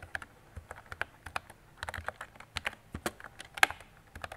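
Fingertips and long nails type on a mint-green retro plastic mechanical keyboard with round plastic keycaps and a hollow body. The result is a quick, irregular run of short, bright clicks and clacks with a thin, hollow ring.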